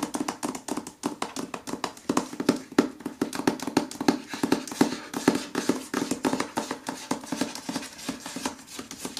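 Fingertips and nails tap rapidly across the glossy paper dust jacket of a solid hardcover novel, "The Writing Retreat," held against a window. The result is a dense run of short, dry clicks and knocks with a low, hollow resonance around 266 Hz that dies away almost instantly.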